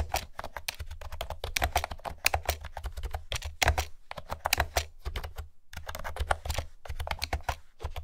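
Long-nailed fingertips type steadily on a light blue plastic retro keyboard with pastel round keycaps and a hollow housing. The rapid, dense taps are short and clicky with almost no ring, and a steady low hum sits underneath. Brief pauses break the flow of keystrokes.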